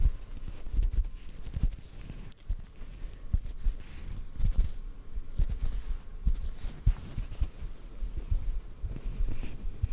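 A small, soft white cotton ball is held near the mic and lightly tapped and pinched with the fingertips. This makes a steady run of soft, muffled low thumps and faint brushing rustles, with almost no bright content. Each tap dies away almost instantly.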